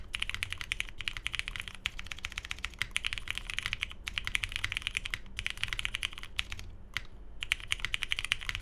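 A Tomo 75% mechanical keyboard with lubed Cherry MX Hyperglide Brown switches, a hollow navy case, a polycarbonate plate and cream and grey plastic keycaps sits on a desk mat and is typed on continuously with the fingertips of both hands. The result is a steady stream of short, bright, clacky keystrokes centered around 2.4 kHz, with brief pauses near 4, 5.2 and 7 seconds over a faint low background rumble.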